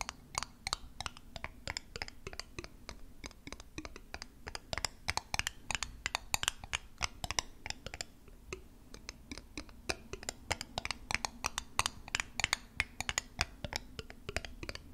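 A small, square, thick-walled glass perfume bottle, hollow and seemingly partly filled with liquid, is held in one hand near the mic and tapped with long acrylic nails. The taps come in rapid, uneven runs of sharp, bright clicks that stop almost instantly, over a faint steady low hum throughout.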